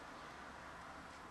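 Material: Nothing is struck.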